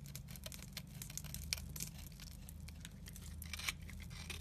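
A utility knife blade scrapes powdery crumbs from the edge of a solid, dry, crumbly pale yellow soap bar held in the fingers. Quick, uneven dry scratches and crackles carry a bright, high hiss over a steady low hum underneath, with a couple of sharper scrapes standing out.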